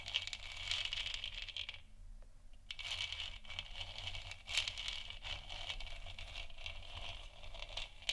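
Long nails on both hands scratch the front of a lit, hollow plastic moon lamp sphere, making a dense, bright, crackly scratching with a steady low hum underneath. The scratching briefly drops away about two seconds in, then resumes and continues steadily to the end.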